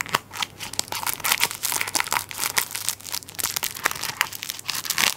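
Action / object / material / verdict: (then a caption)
scrape / plastic-wrapped tissue paper roll / plastic film / none. A plastic-wrapped tissue paper roll is held sideways while fingertips and nails scratch the crinkly plastic over its flat end. The result is a dense run of bright, rustling crinkles and sharp scratchy ticks with almost no low end, each sound cutting off quickly.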